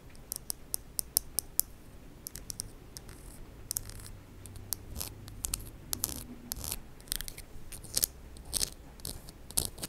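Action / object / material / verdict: tap / acrylic press-on fingernails / acrylic / none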